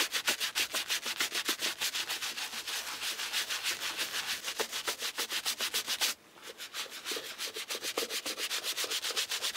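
A brown leather shoe, held in a black-gloved hand, is scrubbed along the side and toe with a wooden-handled bristle brush and cleaning foam. A steady run of rapid, bright, hissing brush strokes continues throughout, with a brief quieter pause near the six-second mark before the scrubbing resumes.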